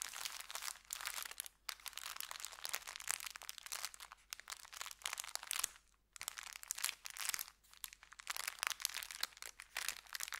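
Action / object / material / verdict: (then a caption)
scrape / brown kraft paper bag / paper / none. An empty, folded brown kraft paper bakery bag resting on felt is scratched and rubbed with the fingertips. It makes dense, bright crinkling and crunching that runs almost continuously, with brief pauses near 1.6, 4.3 and 6 seconds. There is no low rumble and the sound carries no ring.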